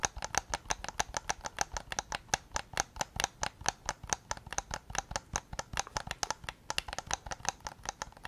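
Fingertips and nails tap the hollow plastic shell of a white PS5 controller held just behind the recorder. There are about 47 quick, dry taps in a rapid, steady stream over 8 seconds. Each tap is a short, bright click with a hollow knock around 800 Hz that dies away almost instantly.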